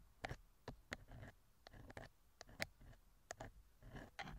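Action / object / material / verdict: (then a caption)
scrape / thin metal wire pick inside a silicone ear cover / silicone / none. A thin metal wire ear pick scrapes inside the left silicone ear cover of a TASCAM microphone. It makes a quiet series of short, sharp clicks and ticks with bright, crackly edges, spaced between softer rustling scrapes and a low muffled rumble.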